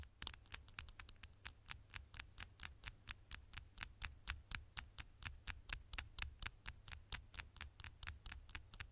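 Long nails tap and scratch the thin, solid gold aluminium back of a smartphone, making about forty sharp, bright clicks at a steady, slightly uneven pace of roughly two per second. Each click is very short and dies instantly, over a faint low hum.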